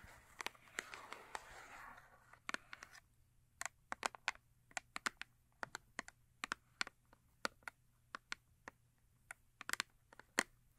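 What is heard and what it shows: Long acrylic nails scratch and tap on a small, full Yardley cardboard soap box holding a bar of soap, working first on its top and then on its face. About two seconds of soft, papery scratching give way to a quiet, steady run of sharp, dry, bright taps with no ring.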